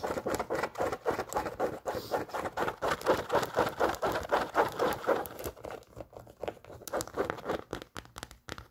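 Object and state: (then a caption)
Canvas high-top sneaker. Long nails rapidly scratch and tap the canvas upper of an empty, worn off-white Converse All Star canvas high-top sneaker with metal eyelets. The result is a steady run of dry, papery scratches and soft taps, about four per second, that grows quieter and sparser toward the end.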